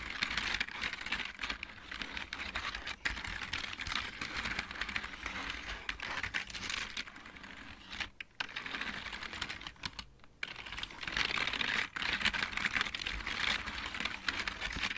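Both hands type with fingertips on a full-size backlit plastic mechanical keyboard, producing a steady stream of fast, bright clicking taps. The typing pauses briefly twice, near the 8- and 10-second marks, before continuing.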